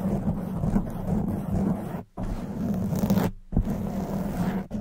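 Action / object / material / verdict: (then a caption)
scrape / foam microphone windscreen / foam / none. Long white nails scratch a soft black foam windscreen on a silver condenser microphone. The result is a dense, continuous rumbling scrape, heavy in the low end, that breaks off into silence briefly twice before resuming.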